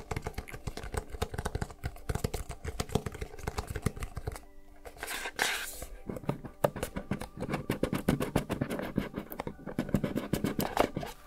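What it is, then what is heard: Cardboard gift box. Long nails rapidly tap and scratch the textured lid and edges of a small, hollow, blue lidded cardboard gift box held in both hands. Dense streams of dry, short clicks and scrapes carry a low, hollow body. A brief scratchy swish occurs around the middle before the quick tapping resumes.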